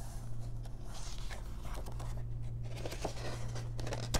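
Long nails and fingertips flip the thin paper pages of an open paper coloring book and brush across them. Soft papery rustles, swishes and small crisp ticks come in quick bursts, with a sharper flick near the end. A steady low hum runs underneath throughout.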